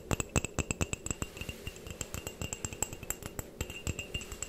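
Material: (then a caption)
Ceramic. Long painted fingernails tap rapidly on the outer surface of a medium white ceramic mug with a printed design, hollow and apparently empty, held near the mic. Each tap is a quick, dry clink with a thin ring around 2.6 kHz and a high glassy edge that dies away almost instantly. The taps come in an irregular run of dozens over a few seconds, some louder than others.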